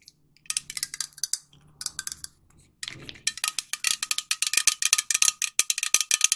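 Long nails tap a hand-sized, hollow green metal aerosol spray can with a white plastic cap, making sharp, bright clicks with a faint metallic ring. The taps come in quick, uneven bursts, then a near-silent stretch followed by a soft rustle, before a long run of faster, louder taps.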